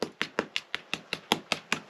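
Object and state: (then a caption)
Hollow lime plaster on a stone wall. Ten short knocks on a lime plaster render over a stone wall, each a quick dull tap with a brief bright click and almost no low end. The spot sounds hollow, so the render there is to be chipped off and the mortar re-applied.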